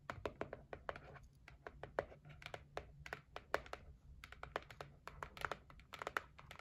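Nail tips tap and scratch the lid of a closed white cardboard gift box. A quick, uneven series of short, dry, hollow taps with bright clicks, mixed with light scratching over a faint low hum.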